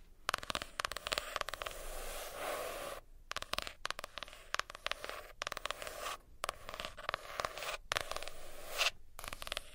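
A hardcover notebook with a cardboard cover is tapped and scratched with nails. Sharp, dry taps come through in rapid, irregular bursts, broken up by longer bright scraping passages and a few brief silences.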